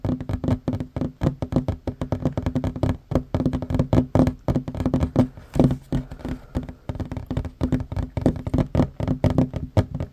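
Both hands tap fast on a worn wooden tabletop, a large solid surface, with short fingernails and fingertips. The result is a dense, uneven stream of short, dull knocks with a low woody tone near 250 Hz. Each tap dies away almost at once.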